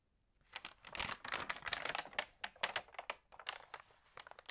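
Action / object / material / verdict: scrape / glossy paper magazine pages / glossy paper / none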